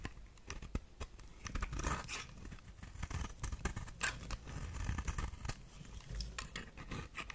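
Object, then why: Soap bar scraped by a knife blade. A knife blade scrapes across the face of a solid, white, figure-shaped bar of dry soap held in the hand, peeling off flakes. Rapid, crisp scraping and shaving strokes sound with bright crackles and a soft low rumble underneath.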